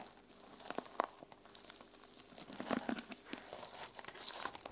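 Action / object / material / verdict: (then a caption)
scrape / sequin-covered fabric journal cover / plastic sequins / none. Fingernails scratch and brush across the silver and teal sequin cover of a small fabric journal resting on a table. The result is a quiet, irregular run of bright, crinkly rasps and small clicking ticks as the sequins flip and rub.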